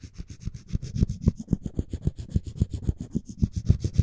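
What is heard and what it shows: Floss string is sawed and rubbed back and forth across the edge of a solid, light wooden spoon handle. It makes a quick run of short, dry rasping strokes, each with a dull low thump and a faint bright hiss. The strokes come at a fast, fairly even pace.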